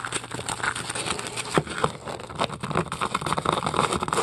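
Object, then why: Polystyrene foam ball. Long acrylic nails scratch and pick at the surface of a large, solid white polystyrene foam ball. The result is a dense, continuous run of dry, crackly crunching and squeaky scraping, broken by many short, sharp clicks and brief bright squeaks that stand out above the texture.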